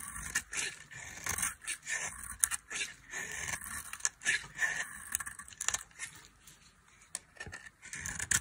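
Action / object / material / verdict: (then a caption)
scrape / soap bar scraped with a metal blade / soap / none. A solid, dry soap bar with a blue coating over a cream interior is held in the hand and shaved with a metal blade. The result is a series of short, bright, crisp scraping strokes with a dry, crackly texture and almost no low end. Each stroke stops quickly, with brief quiet gaps between them.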